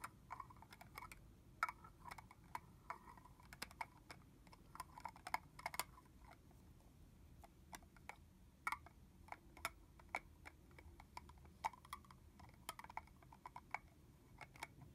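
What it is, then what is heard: Plastic body mist bottle. Long manicured fingernails tap along the body and red plastic cap of a tall, clear red plastic fragrance mist bottle that is partly full of liquid. The result is a quiet, irregular run of sharp, light plastic clicks and ticks with a hollow, mid-pitched tone around 1.3 kHz. Each tap dies away almost at once over a faint low background hiss.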